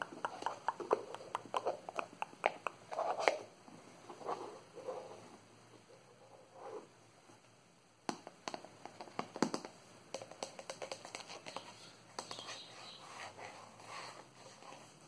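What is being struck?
Small plastic screw-top jar.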